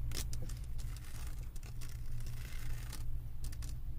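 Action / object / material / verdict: scrape / resin drills on a diamond painting canvas board / resin / none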